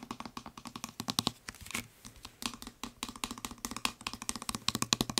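Fingertips and nails tap rapidly on the white trigger head and upper body of a blue plastic spray bottle. About 35 quick, dry, bright clicks come in fast bursts with a brief lull near the middle. Each tap dies away almost instantly.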